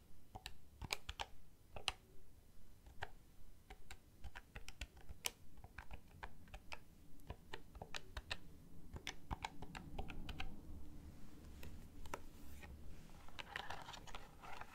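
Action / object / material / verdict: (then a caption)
tap / handheld plastic calculator / plastic / none. Fingertips with nails press and tap the plastic keys of a handheld black plastic desk calculator with a hollow casing. The result is a quick, irregular run of sharp, bright clicks that die away almost instantly, over a faint low rumble.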